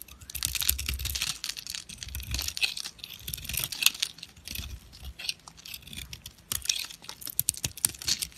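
A rectangular, solid white soap bar with rainbow-striped edges is held in the hand and shaved with a metal knife blade, producing crunchy flakes. Dense, bright, dry crunching and crackling comes in quick bursts of sharp clicks, with a little low thump under some strokes and almost no ring after each one.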